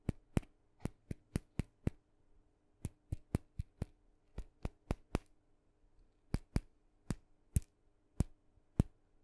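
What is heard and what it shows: A small hollow painted wooden mini maraca, red with dots and a wooden handle, is tapped with fingernails along its body and handle. Twenty-two quiet, sharp, dry taps come in loose clusters with gaps between them. Each tap is a brief click with a low knock under a bright tick that dies almost at once.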